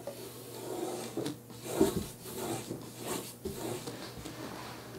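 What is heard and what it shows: A hand strokes and rubs a short flat bristle brush across the grain of a large, flat wooden painting panel with visible wood grain, painted pink with red drips and a yellow tape line, lying on a table. Soft, dry scratchy rasps rise and fall in repeated swells, with a muted low-mid body under a faint airy hiss and a brief louder scrub near the middle.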